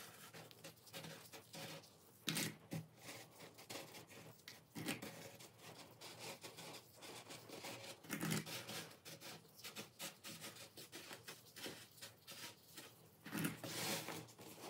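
Fingertips crush and crumble a pile of small, solid, dry pink and green dyed baking soda pebbles resting on a bed of baking soda powder, over and over. The result is a steady run of soft, gritty crunches and scratchy crumbling with bright, hissy texture. Louder crushing bursts rise above it around 2.3, 8.2 and 13.7 seconds.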